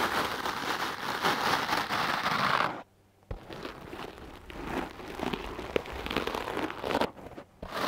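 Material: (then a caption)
Foam. A wooden clothes brush with hard black bristles is stroked and scratched across a large, soft foam windscreen on a microphone. It makes a dense, crackly, crinkling scratch with bright hiss. The scratching stops briefly just before the 3-second mark and dips again near the end before resuming.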